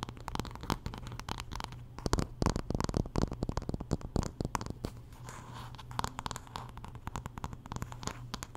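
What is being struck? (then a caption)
Wooden paddle hairbrush. Long nails scratch along the wooden back and handle of a solid wooden paddle hairbrush held flat. The result is a dense run of quick, dry scratches and ticks over a low, steady rumble.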